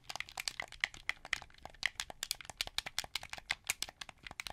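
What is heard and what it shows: Fingertips and nails press and click the buttons, triggers and thumbsticks of a hand-held, hollow, translucent blue plastic Xbox 360 wired controller. About thirty quick, dry plastic clicks and rattles follow one another unevenly, each bright and sharp with almost no ring, centered around 2 kHz with very little low end.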